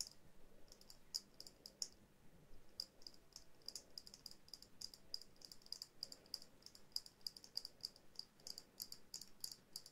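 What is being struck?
Small glass dome ornament.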